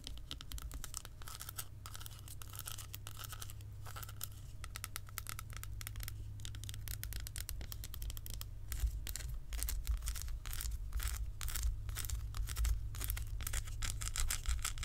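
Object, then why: Milk chocolate bar tapped and scratched with fingernails. An unwrapped, solid, segmented milk chocolate bar held in the hands is tapped and scratched with long almond-shaped acrylic nails. The result is a quiet stream of fast, uneven clicks and scratchy rasps over a steady low hum, growing a little louder and busier in the second half.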